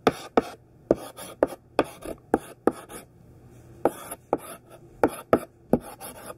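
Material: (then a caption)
Chalk. A thick stick of pink sidewalk chalk, held in the hand, writes words across a large flat black chalkboard. It makes a quick series of short, sharp scratching strokes with bright, gritty texture and soft gaps of scraping between them.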